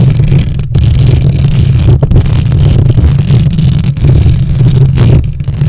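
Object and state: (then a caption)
Metal microphone grille being scratched. Long nails scratch and rub the hollow metal mesh grille of a silver condenser microphone with both hands. The result is a loud, continuous, heavy rumbling scrape, almost entirely deep bass with very little brightness. It is broken only by a few brief dips where the nails lift off the mesh.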